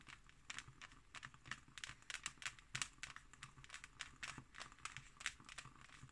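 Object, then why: Embossed hardcover book cover. Long nails scratch and tap across the embossed cover of a closed, thick hardcover book. Quiet, bright, dry scratches and crisp clicks come in quick, uneven bursts, with little low end and almost no ring.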